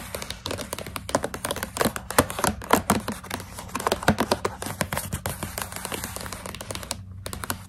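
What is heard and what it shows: Long pink nails tap rapidly on the surface of a partly full plastic pouch of coconut strips held in a hand. The result is a dense run of short, dry, crinkly clicks centred in the midrange, each dying away almost at once. A faint low hum runs underneath, and the tapping pauses briefly near the end.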